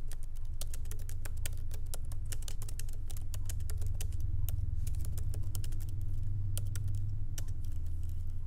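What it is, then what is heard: Laptop keyboard, plastic keys. Light typing with the fingertips of both hands on a MacBook Pro laptop keyboard, its small plastic keycaps set in an aluminum body, resting on a wooden desk. Quick, irregular, bright key clicks run continuously over a steady low hum.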